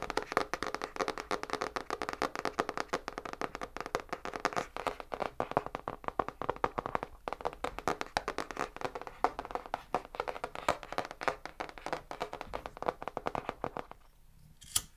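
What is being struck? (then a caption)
Spiral-bound paper notebook with cardboard cover. Fingertips and nails tap rapidly and continuously on the pink marbled cardboard cover of a small hand-held spiral-bound paper notebook with metal wire binding. The dense, dry, short clicky taps sit mostly in the mids. They run steadily for about fourteen seconds before falling quiet, then end with one last bright tap.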